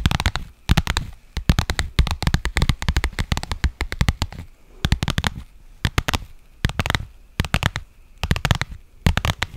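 Long nails scratch along the surface and seams of a pink faux leather padded pouch. Quick, crisp scratching strokes come in rapid bursts with brief pauses between them, each with a dull, padded thump underneath and a dry, bright rasp on top.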